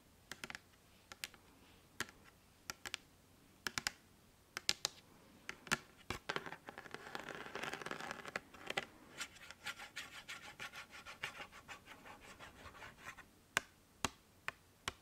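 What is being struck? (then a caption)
Hard plastic freezer ice pack. A flat, rectangular, light-blue hard plastic ice pack with ridged, textured panels, hand-sized and hollow with gel inside, is held close to the mic and tapped and scratched with long fingernails. Sharp, dry clicks come in scattered bursts, with a denser, bright scratching stretch through the middle before the taps thin out again.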